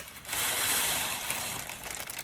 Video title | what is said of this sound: Chocolate Chickpea Bark | You can hear how crispy they are.